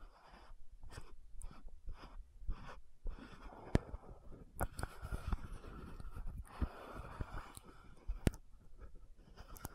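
Long nails scratch and tap around the gold cap of an orange-red frosted plastic lotion bottle. The result is quiet, dry scratching broken up by short, sharp clicks and taps, with a few brighter ticks standing out.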